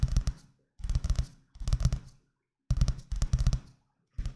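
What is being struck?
Paperback book with paper cover.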